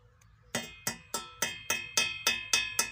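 Nine evenly spaced taps on the steel profile tube of a bought tractor three-point hitch give a bright, thin metallic ping with a clear tone near 2.6 kHz, each fading quickly. The ring reveals a thin wall of about a millimetre, too weak for the hitch, which bends under loads above 20–30 kg.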